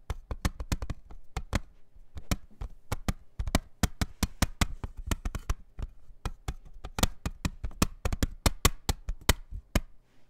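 Fingertips and nails tap on the front face of a hollow, thin-walled clear plastic CD jewel case with a printed cover insert, lying flat on a towel. The rapid, irregular taps are short and dry, with a dull low thump under each sharp click and almost no ring.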